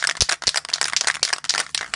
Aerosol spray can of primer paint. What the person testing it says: goed schudden zorg dat je het balletje lekker hoort